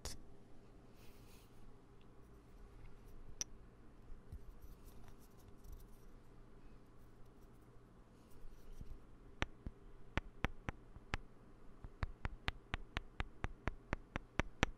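Poker chips sitting on a desk, bought for dealing practice in a card-game class, are handled and tapped. After several seconds of faint, quiet rustling with a low background hum, about nineteen short, bright clicks ring out, coming faster and closer together toward the end.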